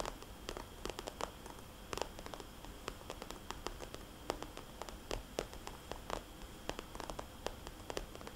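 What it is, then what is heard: Plastic cosmetics bag. Long dark-painted nails tap rapidly on a small red polka-dot glossy plastic cosmetics bag that is hollow and soft-sided. The result is a quiet, irregular stream of sharp, dry clicks with bright tops that stop instantly, over a faint steady hiss.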